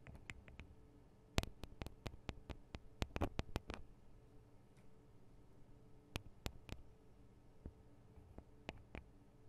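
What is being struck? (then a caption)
Microphone capsules in metal and plastic housings. Long acrylic nails tap on the small hollow metal and plastic microphone capsules of a Tascam DR-40 recorder and on their guards. About nineteen sharp, bright clicks come in irregular bursts, each dying away almost instantly, over a steady low hum. The taps are clustered densely in the first four seconds and spaced out after that.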